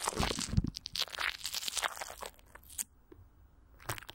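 Fingertips and long nails of both hands scratch and squeeze clear plastic film, with Vaseline, stretched over a hollow microphone grille. The result is dense, irregular crackling and crunching with bright hiss and low thumps. It fades to near silence partway through, then gives a short final burst of crinkles.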